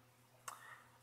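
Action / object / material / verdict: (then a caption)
shake / battery inside a metal mod tube / metal / loose. A battery shaken inside a metal mechanical mod tube gives one short, bright metallic click with a brief rattle after it. The rattle shows the battery sits too loose with too much room, so it is not held tight and the mod does not turn on unless the battery is pushed up to stay connected.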